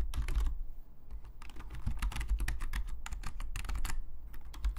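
Both hands' fingertips tap away on a black full-size plastic Logitech membrane keyboard lying flat on a desk, its hollow plastic keys giving quick, dry, bright clicks in a steady flurry of typing. A low, constant hum sits underneath the keystrokes throughout.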